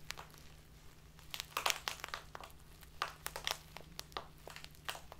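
A tall, narrow, clear plastic bag full of loose tea stands on a table and is squeezed and crinkled with fingertips and long nails. It gives a quick run of sharp, bright crackles and crunches that fade almost instantly, over a faint steady low hum.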